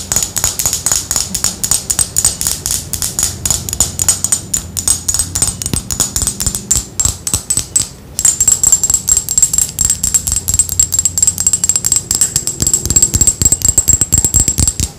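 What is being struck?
Thick glass perfume bottle tapped with fingernails.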